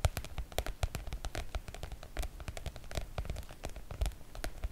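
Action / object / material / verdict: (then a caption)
tap / PVC-coated oilcloth make-up bag / coated fabric / none. Long coral-painted nails rapidly tap and scratch the surface of a floral PVC-coated oilcloth make-up bag. The result is a dense run of short, dry, rain-like ticks and clicks with a soft low body and brief bright tips. Each hit dies away almost instantly.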